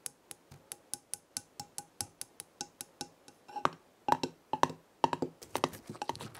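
Long red acrylic nails tap the top of a gold metal screw lid on a small glass jar full of dried herbs. The first half is a steady run of short, sharp clicks with a brief bright ping near 900 Hz. The second half turns into faster, louder clustered flurries of taps.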